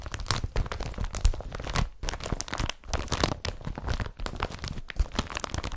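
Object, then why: Woven polypropylene carrier bag. Fingertips and nails scratch across the woven surface of a blue woven polypropylene IKEA BRATTBY carrier bag laid flat. The result is a dense run of dry, crinkly scrapes and rustles in quick, uneven bursts, with brief pauses between strokes and a soft low rumble underneath.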